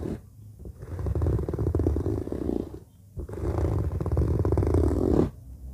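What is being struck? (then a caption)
Fabric-covered zippered suitcase. Nails and fingertips scratch the fabric surface near the black zipper of a hollow orange fabric suitcase. Two long passes of dense, rasping scratching, separated by a brief quiet gap, sound as a deep, low rumble with almost no brightness. Each pass ends abruptly.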